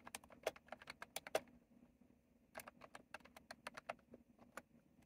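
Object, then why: Mechanical keyboard with round plastic keycaps. Fingertips type continuously on a retro plastic mechanical keyboard with round plastic keycaps, producing quick, bright clicking keystrokes over a low steady hum. The typing comes in two bursts with a short pause around the two-second mark, with a few harder, louder strikes standing out.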